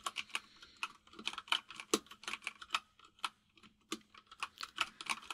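A white full-size mechanical keyboard with plastic keycaps sits on a desk, and both hands type on it with the fingertips. Rapid, uneven keystrokes give about 22 short, bright clicks that stop almost instantly. A faint low hum runs steadily underneath.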